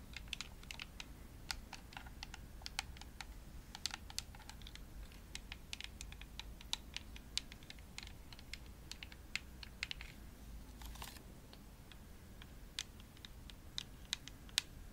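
Long nails tap quickly on the shell of a hollow, pink glossy plastic Xbox controller. The result is a quiet stream of sharp, dry, bright clicks that stop instantly with no ring, over a faint low hum.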